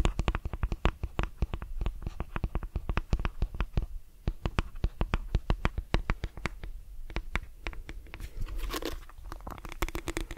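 Fingertips and nails scratch the plastic bristles of a lilac plastic detangling brush and tap its back. The result is a rapid run of sharp, dry clicks with a steady low thump beneath, and a brighter scratchy rasp near the end.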